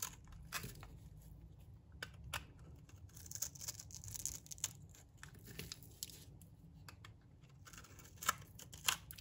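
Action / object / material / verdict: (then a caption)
scrape / bar of soap shaved with a metal blade / soap / none. A metal blade shaves curls off the surface of a solid, dry green oval bar of soap. The sound is a quiet series of crisp, bright scraping and crackling strokes with short tearing textures over a low, steady hum, and a few sharper strokes stand out near the end.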